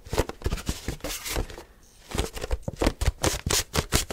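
Fingertips and short nails rapidly grip, squeeze and tap a translucent white HDPE plastic milk jug with a handle, hollow and apparently empty. The result is a quick, uneven run of dull, hollow thumps mixed with bright plastic clicks and crinkles, each dying away almost at once. There is a brief lull in the middle before the tapping picks back up.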